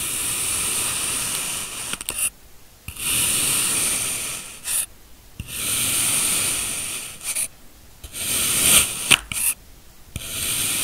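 A steel kitchen knife, held in a black-gloved hand, cuts thin slices from a large, solid molded block of blue kinetic sand with repeated slicing and scraping strokes through the packed sand. Each stroke is a long, dry, grainy hiss that is bright and high with very little low end. The strokes are separated by brief near-silent pauses.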